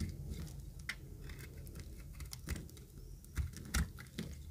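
A utility knife blade scrapes the surface of an oval, pink-and-green speckled bar of solid dry soap. Irregular, dry scratching and crisp ticking crackles repeat over a low, dull rumble, with a few louder scrapes standing out.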